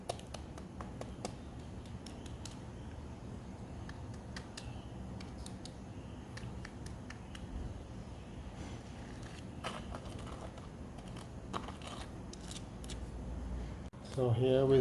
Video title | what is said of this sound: BAKED CRISPY SKIN CHICKEN W PRESERVED LEMON | you can hear how crispy it is